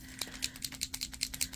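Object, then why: Acrylic paint marker with plastic body and mixing ball. An acrylic paint marker with a plastic body is given another good shake, and the loose mixing ball inside rattles back and forth in a quick series of about a dozen sharp, bright clicks. The clicks are short and dry, with almost no ring, and the ball moves freely as it normally should.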